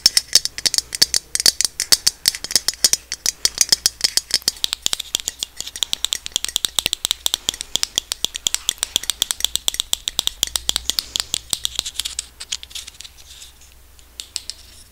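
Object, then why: Small plastic cosmetic bottle with cap. Long red nails tap and scratch a slim, hollow pink plastic cosmetic bottle on its body and cap. A rapid, steady run of dozens of sharp, bright clicks rattles with almost no low end, then thins out and turns quieter after about 12 seconds.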